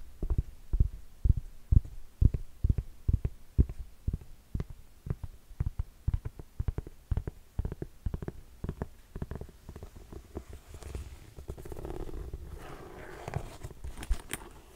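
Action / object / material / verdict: tap / faux-suede ankle boot / faux suede / none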